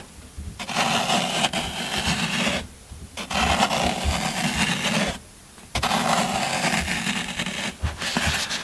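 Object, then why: Floral foam block. A yellow-handled metal loop scraper rakes along the top edge of a solid green floral foam brick held in one hand, shaving the foam away. Three long passes of crunchy, gritty scraping with a bright, hissy texture and a low rumbling undertone are heard, separated by brief quiet pauses.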